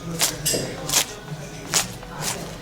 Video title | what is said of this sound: 4 Maestri Mostrano 4 Impasti Pizza passo passo! Biga, Poolish, con autolisi e Classico | Feel how crispy it is? Feel it?